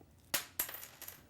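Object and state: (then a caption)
Dropped coat button. A button from a lady's coat is dropped as a comparison test, landing with four quick, bright clicks: a sharp first impact followed by lighter bounces that fade within about a second. The clicks are high-pitched with very little low end and a short ring, and a falling button is judged the probable cause of the noise heard earlier.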